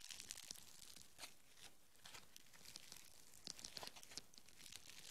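Green foam bead clay is stretched into a strand and then squeezed into a lump with the fingers. It gives off a dense run of soft, dry crackling and crinkling with bright, high clicks and brief tearing-like bursts, all quiet and close.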